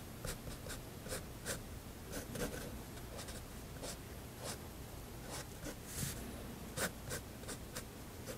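A fineliner pen draws strokes across the dome area of a sketch on a page of a spiral paper sketchbook resting on a desk. Throughout, the pen tip makes quiet, repeated short scratches on the paper, each a bright, airy burst over a low, steady background hum.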